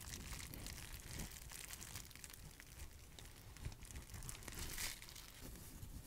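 A sheet of clear plastic bubble wrap is held close and crinkled and squeezed by fingers with long nails. It makes a steady, dense crinkling with sharp crackles and brief bright snaps over a low rumble.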